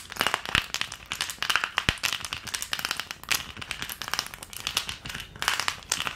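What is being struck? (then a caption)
Plastic ice cube tray. Long painted nails tap fast on an empty, long, rigid green plastic ice cube tray with round cavities, held upright. The result is a dense stream of sharp, bright plastic clicks and clatter that decay almost instantly, with very little low end.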